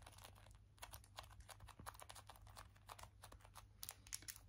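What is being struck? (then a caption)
Small round plastic compact. Long nails tap quickly on a small round plastic donut compact, striking both its white base and its pink lid. The taps are quiet, dry and bright with almost no ring, over a steady low hum.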